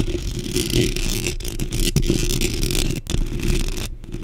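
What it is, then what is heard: Metal mesh microphone grille being scratched. Long pink acrylic nails on both hands quickly scratch a black metal mesh microphone grille. The result is a dense, continuous rasping scratch with a heavy low rumble and a bright hiss on top. The sound breaks off briefly a few times, then resumes.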